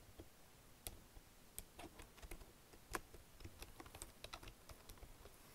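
Fingertips and nails lightly type on a black plastic Logitech wireless keyboard, pressing keys including Enter and the arrows. About 17 soft, dry, bright typing clicks are heard at an irregular pace over a quiet, low background.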